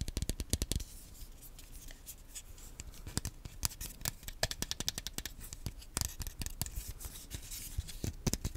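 A small black plastic Wii nunchuk, a hollow handheld controller, is held close to the microphone and tapped and scratched with the fingernails. Quick, sharp, bright clicks come in bursts, with a soft scratchy rustle between them. Each tap dies away almost instantly.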